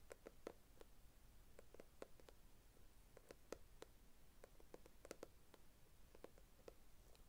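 A small, flat, hollow brown kraft cardboard box is held in both hands while its surface is tapped and scratched with long red nails. The result is a quiet, irregular string of short, dry clicks with a hollow mid tone around 460 Hz and bright edges, with soft scratching over a low background rumble.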